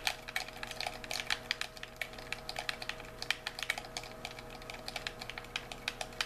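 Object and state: Plastic game controller.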